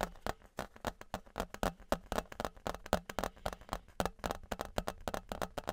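Fingertips and nails tap the face of a thin, flat, embossed metal Patriots novelty license plate, about 30 cm wide, held in both hands. Around thirty quick, irregular taps sound as short, dry metallic clicks with a faint tinny tone near 600 Hz and almost no ring.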